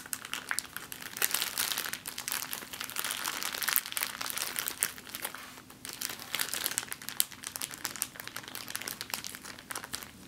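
A small, empty, clear plastic zip-lock bag is held above a table and crumpled with fingers and long nails. It makes a steady, dense, bright crinkling with sharp crackles throughout, over a faint low hum.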